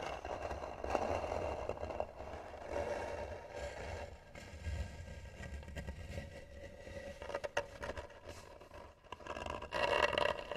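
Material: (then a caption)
Wood. Long nails scratch the lid of a hollow, tan carved wooden box, making slow, rough scraping strokes with a woody mid-range tone over a low rumble. The scratches come in uneven bursts and swells, growing louder and brighter near the end.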